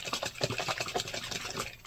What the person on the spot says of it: I shake it up really well. As you can hear, it's very liquidy.